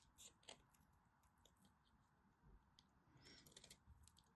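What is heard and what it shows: A craft knife cuts into and scrapes flakes off a dry, partly carved teal and white striped bar of soap held in the hand. The sound is quiet, with soft, crisp scraping and irregular bright, crackly clicks over a low, muffled rumble.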